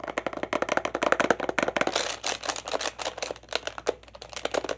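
Fingertips and nails tap rapidly on the plastic buttons of a hollow plastic children's toy laptop. The result is a fast, uneven stream of short, dry clicks with a hollow plastic knock around 480 Hz and a bright clatter on top. Each tap dies away almost instantly.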